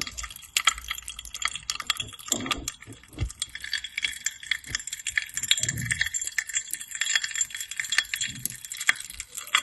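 Long painted nails tap and click on the rim and side of a small, clear, hollow glass tumbler partly filled with dark red liquid. A rapid, uneven stream of bright clinks and ticks follows, each ringing only briefly around 3.3 kHz. Some softer, duller knocks are mixed in.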